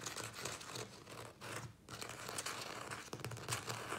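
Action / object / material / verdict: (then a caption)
tap / thin plastic plant pot with soil / plastic / none. Fingertips and nails tap quickly on the sides of a small, thin-walled, hollow black plastic nursery pot filled with soil and a plant. The result is a rapid, crinkly patter of light plastic taps with bright clicks over a low, steady hum.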